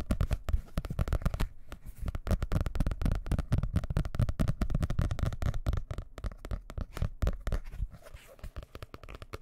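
A blue hardcover paper book, held close to the microphone first with its pages open and then closed, is rapidly scratched and tapped with fingertips and nails. The result is a dense stream of quick, crunchy, papery taps and scrapes with a heavy low thump, fading somewhat toward the end.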